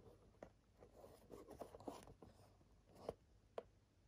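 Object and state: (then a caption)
Cardboard game box handled. A small, empty-looking printed cardboard Nintendo 64 game box for Jet Force Gemini is held in both hands and turned side to side while fingertips and nails scratch and rub its surface. The result is quiet, dry midrange scratching and soft rubbing with little bass or high end, broken by several short, sharp clicks that die away almost instantly.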